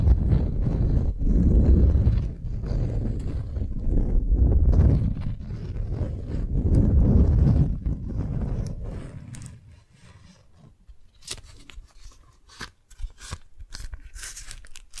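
Long nails scratch and rub a single long strawberry-print beeswax-coated cotton food wrap held up in the hands. Dense, rumbling crinkles and rustles fill the first nine seconds, then fade to a quieter stretch. Sharp, bright scratches and ticks dominate the end.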